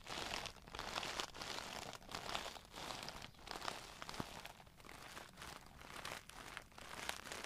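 A clear plastic Tarte brush case with a glitter panel and brushes inside is tapped and scratched with long nails while turned in the hands. Dense, bright crinkling and scratching comes in waves of rapid clicks with short pauses between them.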